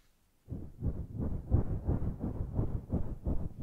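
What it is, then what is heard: Faux fur microphone windscreen. After a brief silence, fingertips pat and then long nails scratch a grey, fluffy synthetic-fur microphone windscreen. This produces a steady series of deep, muffled thumps and soft rustling swells, roughly three per second. Almost all of the sound sits in the low range, with no bright high end.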